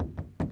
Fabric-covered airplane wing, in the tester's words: this is fabric. You can hear it. It's hollow like a drum.